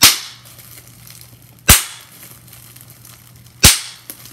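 Clear plastic bubble wrap, first a sheet and then a small crumpled piece, has its bubbles pinched and popped with fingers. Three sharp, bright pops ring out about two seconds apart, each decaying quickly, with a faint smaller click near the end over a steady low hum.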